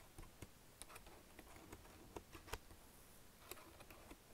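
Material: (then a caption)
Plastic. Fingertips and nails lightly type and press keys, including Enter and the arrows, on a black plastic Logitech wireless keyboard. About nine soft, short, bright clicks stand out unevenly over a quiet, low hiss, each dying away almost instantly.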